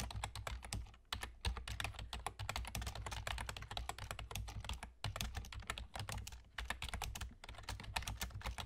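Rapid typing with the fingertips of both hands, nails kept short, on a full-size black plastic computer keyboard with German key labels and hollow keys. Quick, bright clicks and clacks run in dense bursts, with short pauses near 1, 5 and 6.5 seconds, over a steady low hum.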